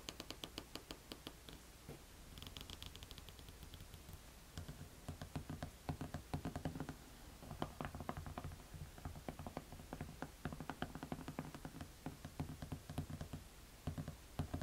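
A beige suede flat is turned over so long red nails can scratch and tap across its rubber outsole. Quick, dull taps with short scratching strokes in between are heard, mostly low and muted with little brightness. The sounds decay almost at once, with no ring.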